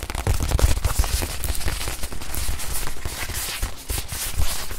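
Long nails rapidly tap and scratch the surface of a small stuffed white leather watch pillow held in both hands. The result is a dense, continuous patter of short, dull thuds with a deep low thump, layered over a bright, crackly scratching texture.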